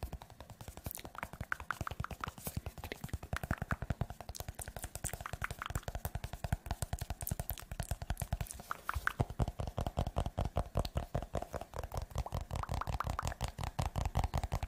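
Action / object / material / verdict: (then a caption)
tap / hardcover paper notebook / paper / none. Fingernails tap and scratch the glossy cover and edge of a green hardcover notebook or book, a solid paper block held in one hand. The result is a fast, uneven stream of short, dull tapping thumps weighted toward the low end, with faint scratchy brushing between them.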